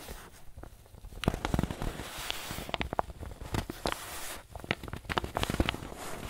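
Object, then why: Paper bag filled with flour. A soft, wrinkled white paper bag, apparently filled with flour, is squeezed and crinkled with the fingers and thumbs of both hands. It makes irregular bursts of crisp, dry crackles and rustles with a soft, muffled low body and bright papery edges. The sharp crinkles die away instantly between grips.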